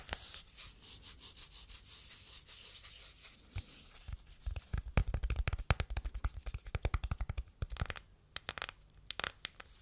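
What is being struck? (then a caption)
Phone in a silicone case, scratched with fingernails. Long nails rub and scratch the back of a phone in a matte yellow silicone case held flat. The first few seconds are a soft, rhythmic rubbing, followed by a denser run of sharp, quick scratches and clicks.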